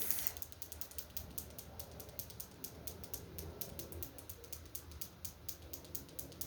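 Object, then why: Glass bottle holding small crystal stones. A glass bottle holding crystal chips of garnet, carnelian, citrine and rose quartz is tapped and handled. It gives a quiet, fast run of bright clicking, rattling hits from the stones inside over a low rumble.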